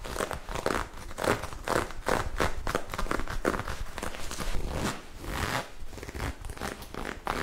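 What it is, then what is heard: Ribbed knit fabric being scratched. Long acrylic nails scratch and rub a magenta ribbed knit fabric garment held bunched in the hands. The result is a fast, aggressive run of dry, crackly scratching strokes with bright, airy fabric friction.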